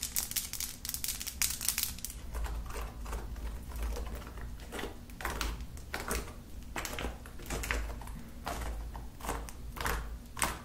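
Long nails and fingertips tap quickly, like typing, on flat lilac slime with beads and glitter spread on a table. The result is a rapid run of bright, sticky clicks and crackles over a steady low hum.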